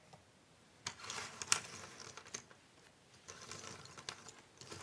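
A loose pile of small, thin cardboard jigsaw puzzle pieces on a wooden table is spread and rubbed by both hands with long nails. This makes dry, bright rustling and clicking in uneven bursts, with a few sharper taps, followed by quieter shuffling.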